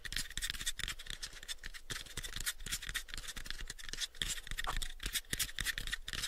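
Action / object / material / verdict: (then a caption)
scrape / light wooden box / wood / none. Fingernails scratch the surface of a pale, light wooden box held mostly covered by the fingers. The result is a dense run of quick, bright scratching strokes over soft low taps on the wood, continuing steadily throughout.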